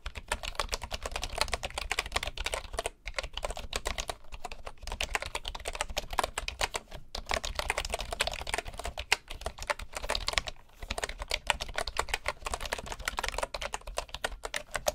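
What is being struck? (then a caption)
Bamboo wood computer keyboard. Fingertips type steadily on a bamboo wood keyboard, producing a dense, fast stream of short, bright wooden clicks and clacks. The typing pauses briefly around the 3 and 10.5 second marks, and a faint steady low hum sits underneath.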